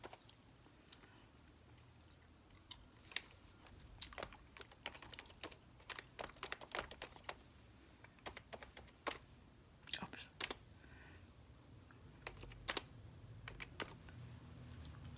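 Fingertips with long nails type in quick taps on a beige plastic computer keyboard resting on a tiled table. Bursts of short, bright plastic clicks come in uneven clusters with brief pauses, each dying away almost instantly over a soft low background hum.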